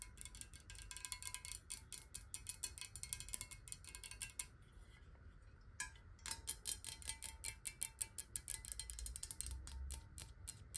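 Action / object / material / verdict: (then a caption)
tap / glass water bottle, partly filled with water / glass / none. Long nails of both hands tap fast on the sides of a clear, square-sided glass water bottle held upright, hollow and partly filled with water. The result is a rapid stream of bright, sharp clicks with almost no ring, over a low background rumble. The tapping thins out into a quieter stretch near the middle before picking back up.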